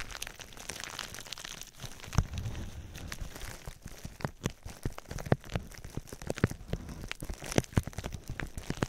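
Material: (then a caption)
Plastic. Clear plastic bubble wrap held over the microphone is squeezed and crinkled with fingers while its bubbles are popped. A close, rustling crinkle runs throughout, broken by sharp, dry pops and cracks scattered unevenly across the clip.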